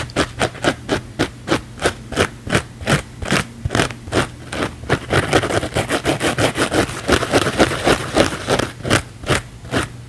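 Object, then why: Thick foam sponge. A thick, layered blue foam sponge held in the palm is scratched fast and aggressively with the fingernails. It makes a rapid run of rough, bright scraping bursts, about three per second, that blur together in the middle, over a faint steady low hum.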